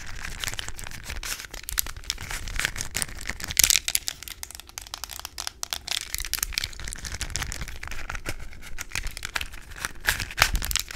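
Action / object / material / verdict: tap / small hollow plastic puzzle cube tapped and scratched with long nails / plastic / none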